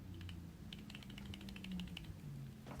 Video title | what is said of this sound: How To Spot FAKE and REAL Pokemon Games | if you shake an authentic one there's a slight rattle